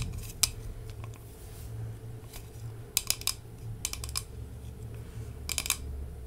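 Long nails tap on a large, hollow glass candy jar with a glass lid, full of Haribo gummy candies and held close to the mic. Sharp, bright clicks come singly and in quick clusters over a steady low hum, each dying away almost at once.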